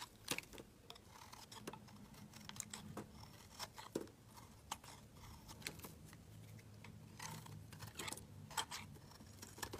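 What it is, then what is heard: Bar soap being shaved. A utility knife blade shaves flakes off a solid, light-blue, palm-sized oval bar of soap held in the hand. Soft, crisp scraping strokes and short bright ticks repeat over a quiet, steady low hum, with each stroke dying away almost instantly.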